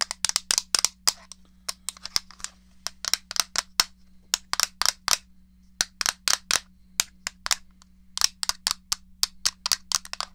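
Long fingernails tap the flat back of a small, hollow grey plastic SNES game controller, making about 38 quick, sharp clicks in uneven bursts. Each tap is bright and very short with almost no ring, over a faint steady low hum.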